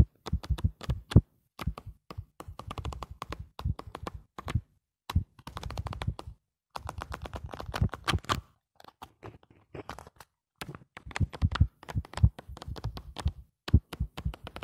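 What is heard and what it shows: Fingertips flip and riffle the paper pages of a lined paper notebook held close. Fast bursts of sharp, dry crackling taps come in clusters separated by short silences, each tap dying almost at once. The sound is heavy in the low end with a thin bright edge.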